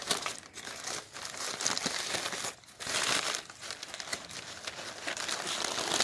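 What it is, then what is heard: Glossy paper flyers being crumpled. Fingertips flip, rub and crumple a loose, light, hollow-stacked pile of thin, glossy printed supermarket advertising leaflets lying on a wooden deck. The result is a steady, bright crinkling and rustling, with almost no low end and a few brief lulls between bursts.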